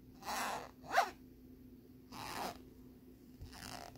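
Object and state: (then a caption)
Plastic lenticular card being scratched. Fingertips and nails scratch and rub the ridged surface of a thin plastic lenticular bear card lying on a wooden board. Short, bright rasping strokes come in separate bursts with quiet gaps between them, one of them a sharper scrape.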